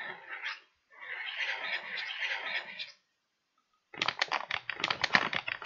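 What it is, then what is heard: Paper bag. A small pointed tool scratches across a folded, empty kraft paper bag with blue print and handles, making a short dry scrape and then a longer, steady rustling scratch. After a pause of silence, it taps the paper in a quick run of sharp, bright ticks with no ring.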